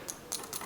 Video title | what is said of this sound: How to polish a badly-scratched watch crystal | this has a mineral glass crystal on it and it sounds a lot heavier